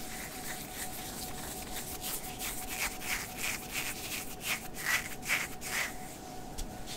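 Fingertips and nails scratch the shoulder and upper sleeve of a worn, light blue sheer synthetic mesh long-sleeve top. The result is a soft, dry, bright scratching and rubbing in irregular strokes that grow slightly louder toward the middle, over a faint steady low hum.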